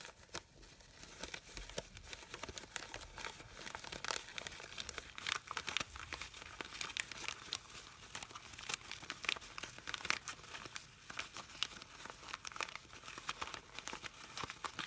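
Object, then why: Artificial satin fabric rose. Long pink nails and fingertips crumple and rub the soft, hollow petals of a hand-sized artificial rose made of red satin-like fabric, while other fabric flowers rest untouched on a wooden table. A steady, bright crinkling and rustling carries through, dotted with many quick, crisp crackles and little low end. The sound stays quiet and close, with each crackle stopping almost instantly.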